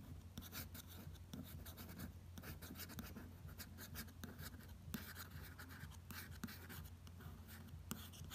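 A fingertip traces and taps the lettering on a glossy paper magazine cover, making soft, bright rustling strokes with light taps mixed in. A steady low hum runs underneath throughout.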